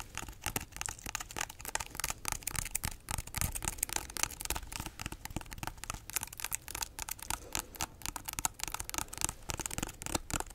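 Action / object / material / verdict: scrape / pineapple rind / fruit rind / none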